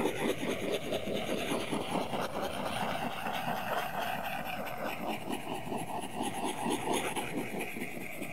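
A plastic Apple Pencil tip scratches and shades across an iPad's glass screen, which is covered by a flat, solid matte paper-like plastic film, in continuous coloring strokes. The result is a steady, dry, papery rasp made of rapid, loosely regular strokes. The sound is strongest in the low-mid range with bright scratchy edges.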